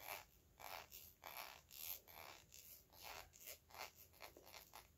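Fingernails tap and lightly scratch the glass body of a small, hollow, clear faceted glass perfume bottle held upright. A slow series of quiet, bright, hissy tapping and scraping strokes follows, each brief with almost no ring and little low end.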